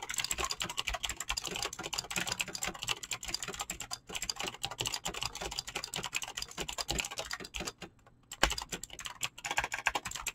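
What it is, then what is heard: Mechanical keyboard with PBT plastic keycaps. Fingertips type rapidly on a mechanical keyboard with clicky green switches and PBT plastic keycaps. A dense, steady stream of sharp, bright clicks runs throughout, with a brief pause near the eight-second mark before a louder keystroke resumes the typing.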